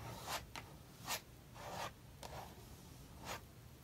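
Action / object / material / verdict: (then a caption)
scrape / metal palette knife on paper sketchbook page with acrylic paint / paper / none. A metal palette knife spreads thick maroon acrylic paint in vertical strokes across a paper sketchbook page. Soft, bright scraping strokes come in short, irregular bursts over a quiet background, each fading quickly.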